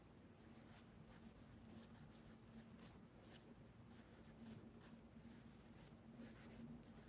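Fingertips rub and smudge charcoal across a large sheet of mixed media paper in a spiral sketchbook, lying flat on a wooden desk. Quiet, continuous papery strokes come in soft, breathy bursts of high hiss over a faint steady low hum.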